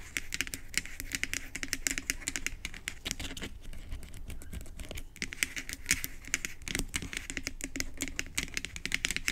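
Long acrylic nails tap quickly on the hollow white plastic pump head and round cap end of a bottle. The result is a dense stream of short, sharp, bright clicks with almost no ring, over a faint low rumble.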